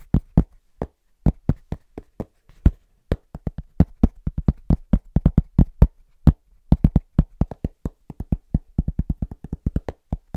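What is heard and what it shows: A cork object is tapped and knocked quickly in an uneven rhythm, about fifty short, dry, low thuds that stop almost at once with no ring. The knocks come in clusters and speed up toward the end, with no speech.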